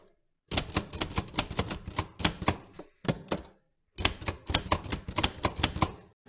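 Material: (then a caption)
Metal. Fingertips of both hands press the round keys of a vintage black-and-silver metal manual typewriter repeatedly, typing. Sharp, bright mechanical clacks come in quick runs with a low thump under each strike. A short run in the middle is set off by brief silences before a second long run.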